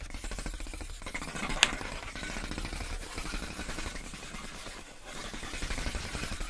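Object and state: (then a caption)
Plastic air column packaging. Long acrylic nails tap and scratch clear, inflated plastic air column wrap around a pink box. A steady, dense crinkling scratch fills the clip over a low hum, broken by one sharp, bright tap near the middle.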